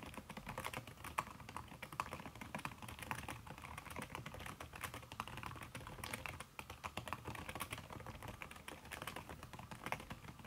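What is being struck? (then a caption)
Laptop keyboard with silicone key cover. Fingertips with long red nails type fast on a backlit aluminium laptop keyboard fitted with a red silicone key cover. The result is a steady stream of soft, muffled taps with short, dry clicks and no ringing.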